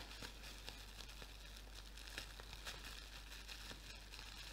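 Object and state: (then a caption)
Plastic bubble wrap. A clear plastic bubble wrap sheet is held low in both hands while the bubbles are squeezed and popped with fingertips and nails. Quiet, bright crinkling runs throughout, broken by scattered sharp crackling pops over a steady low hum.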